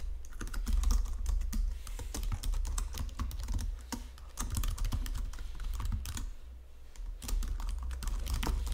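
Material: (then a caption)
Plastic. Fingertips with long nails type quickly on a white plastic Logitech full-size keyboard, producing a dense run of sharp, clicky keystrokes. The typing eases off briefly twice before picking back up, all over a steady low hum.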